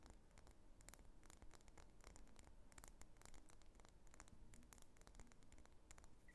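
Long nails scratch and tap the surface of a medium, solid pink wax pillar candle held horizontally. Quiet, steady scratching is dotted with quick, dry, bright clicking taps over a low, dull rumble.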